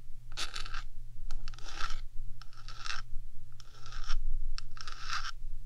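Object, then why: Metal microphone housing scratched with fingernails. Long fingernails on one hand scratch and tap the top of a 3Dio microphone's hollow metal box. Bursts of bright scratching repeat about every second over a steady low hum.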